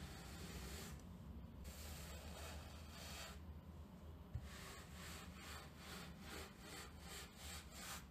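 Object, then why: Cotton terry towel and plastic bristle brush. A round green plastic-backed brush with stiff white bristles, held by its handle, is scrubbed back and forth over the pile of a grey terry towel lying on a table. The result is a steady, rough scratching rustle with a low, rumbling body and bright bristle hiss that swells with each stroke. A brief, sharp knock stands out partway through.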